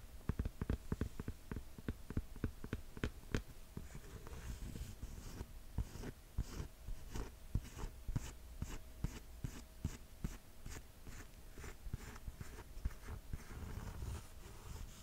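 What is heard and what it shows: Long nails tap and scratch the grey rubber outsole and white midsole of a green mesh sneaker. The result is a quick, uneven run of soft, dull taps with sharp clicky attacks, mixed with light scratchy rasps. A faint steady hum sits underneath throughout.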